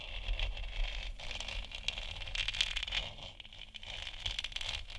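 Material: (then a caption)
Plastic. Long nails tap and scratch the top of a lit, hollow plastic moon lamp sphere. The result is a continuous run of crackly, scraping scratches and quick clicky taps, bright and high with little ring, over a steady low rumble.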